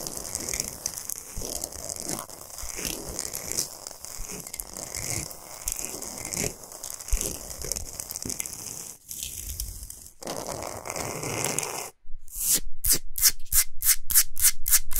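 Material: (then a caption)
Rock salt. Long nails scratch and rub across the surface of a large, flat, solid pink Himalayan salt block, making a dense, gritty rasping with crunchy, crinkly scrapes and bright hiss on top. After a brief gap near the end, the scratching turns into a louder, quicker run of evenly spaced strokes.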